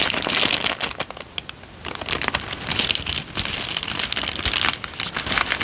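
A thin, crumpled and wrinkled peach paper sheet is bent, folded and crinkled by both hands with the fingertips. It makes dense, bright crackling and rustling crinkles with almost no low end, easing to a brief quieter lull early on before the crinkling builds again.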